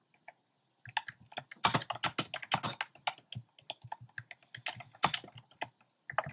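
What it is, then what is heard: Plastic mechanical keyboard. Fingertips type on a compact plastic mechanical keyboard with round pastel plastic keycaps set in a dark frame. After a brief near-silent start, a quick, uneven run of sharp, clacky keystrokes follows, each dying away almost instantly, with bright, clicky tops and a light low thump beneath.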